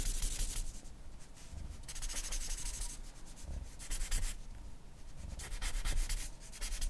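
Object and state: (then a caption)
Charcoal pencil on drawing paper. A charcoal pencil draws fine scratching strokes near the lips of a portrait on a flat white drawing paper sheet. Repeated bursts of bright, dry scratching noise come and go in stroke-length passes over a steady low rumble.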